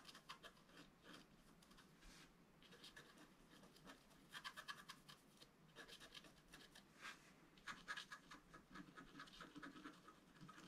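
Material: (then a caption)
Coated paper. A wooden stylus scratches the black coating along the right side of a flat, roughly A4 scratch-art card lying on a table. Quiet, dry scraping strokes come in clustered bursts, with a bright, papery rasp centered in the upper midrange and very little low end.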